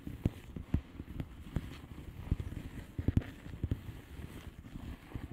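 Long fingernails on both hands tap on the bubbles of a flat blue plastic bubble wrap envelope. About eleven dull, low, muffled taps stand out over a steady soft crinkling patter, each dying away at once.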